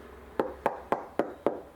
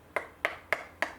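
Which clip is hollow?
The first.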